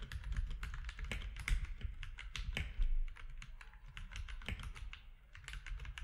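Fingertips of both hands type quickly on a compact mechanical keyboard with grey, white and orange plastic keycaps. A steady run of sharp, bright plastic clicks and clacks fades fast between strokes, over a constant low hum around 59 Hz.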